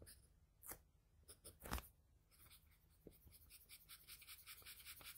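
A wooden graphite pencil rubs and scratches short shading strokes across a flat sheet of drawing paper bearing a pencil portrait. Two louder scratchy strokes come early, then a steady run of quick, soft, bright scraping strokes. The result is quiet, dry scratching with a faint low rumble underneath.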